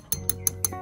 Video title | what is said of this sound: พรีวิวความรู้สึกแรกเมื่อจับรอกสปินนิ่งมือสอง - Americano | ตัวนี้คืออลูมิเนียมเสียงรู้เลย